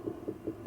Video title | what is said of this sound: The Pumpkin Patch pt2 — Burying Di Vine | it's got that nice pumpkin sound if you can hear that that Hollow sound